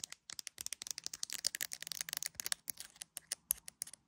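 Long acrylic nails tap rapidly on the edge and camera area of an iPhone in a clear plastic case with resin gummy bear decorations, held up to a mirror. The result is a quick, dense run of sharp, dry clicks with bright, high, hissy tops and almost no low end, each tap dying away instantly.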